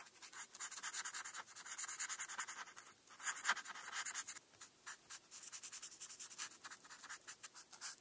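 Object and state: Felt-tip marker on paper.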